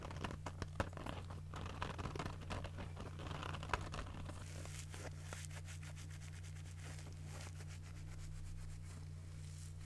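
Long nails rub and scratch the scouring pad of a yellow and green foam kitchen sponge while the sponge is squeezed. Dry, crinkly scratching comes with sharp clicks early on, then settles into a denser, steadier rasp over a constant low hum.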